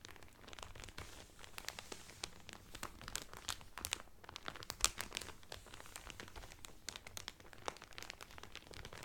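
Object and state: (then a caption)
Cellophane wrapper crinkled. Fingertips and nails crinkle the clear cellophane wrapper around a blue Carnival cotton towel folded flat. Quiet, dense, crisp crackling with bright snaps carries through the whole clip, with a few louder pops standing out near the middle.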